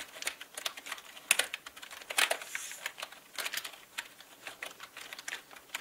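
Fingertips slowly type on a full-size black mechanical gaming keyboard with plastic keycaps and a hollow body. A steady run of sharp, bright, plastic clicks and clacks with almost no low end, each dying away almost instantly, with a couple of louder clacks standing out early in the run.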